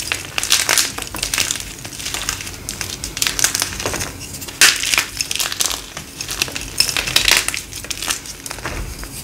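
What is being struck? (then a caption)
Dyed gym chalk block. A thin slab of hard, dry pink-dyed gym chalk (magnesium carbonate) is crushed and crumbled between the fingertips and palms of both hands, with short nails, over a pile of chalk fragments. Dense, bright, dry crunching and crackling snaps come in uneven bursts with almost no low end. The solid chalk breaks into crumbly chunks.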